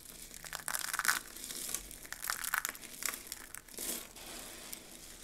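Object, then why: Pile of dry soap flakes. Hands scoop up a pile of mixed dry soap flakes and crush them between the fingers. The result is a series of dry, crisp crunching and crinkling bursts with a bright, papery texture and little low end.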